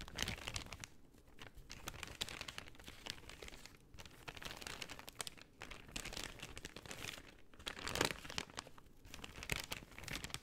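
A folded brown kraft paper shopping bag is crinkled and opened by hand while fingernails scratch across its surface. Dense, bright, papery crackles and rustles run continuously for about ten seconds at a quiet level, with short crisp snaps that stop dead and occasional louder crunches near the middle and end.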